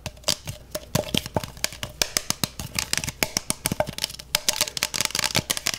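A clear, beer-mug-size plastic freezer mug with a handle and gel filling inside its double wall is tapped and scratched on its outer wall with fingertips and nails. The result is a fast, irregular stream of short, dry, bright clicks and ticks with a faint scratchy hiss between them and almost no ring.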